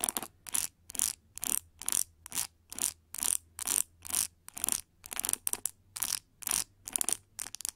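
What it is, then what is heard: Plastic pin hair brush being scratched. Long nails scratch and flick across the white plastic pin bristles set in the cushion of a hand-held oval pink plastic paddle hair brush. The result is a steady series of short, bright, scratchy rasps, roughly two per second and uneven in rhythm, with almost no low end and quiet pauses between strokes.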